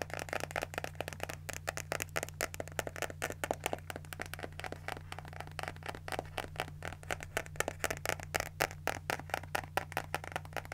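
A small pink spiral notebook with a cardboard cover and paper pages is scratched with fingernails while its pages are flipped. The result is a dense, rapid stream of dry, crisp scratches and papery rustles with a faint, steady low hum underneath.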